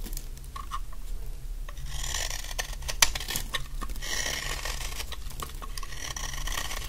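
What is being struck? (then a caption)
Bar of laundry soap. A large, solid, dry yellow laundry soap bar held in the hand is shaved with a utility knife blade in scraping strokes, sending crumbly flakes falling. Repeated bright, rasping scrapes and small crisp crunches sit over a steady low hum.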